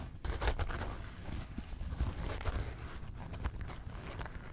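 A small Porg zip wallet of faux leather and felt, zipped closed and hollow, is gripped in both hands while long nails scratch along its top zipper track and faux-leather front. The result is a soft, muffled, low-heavy scratching and rubbing, with brief brighter scrapes rising out of a steady quiet rustle.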